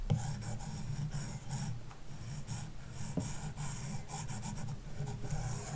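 A plastic stylus tip makes repeated scratching strokes across the matte screen-protector film on a large iPad glass touchscreen resting on a wooden desk, filling in a shape. The result is a quiet, steady stream of soft, dry scratching with a faint bright hiss and a low, muffled body, the strokes running together with no ring.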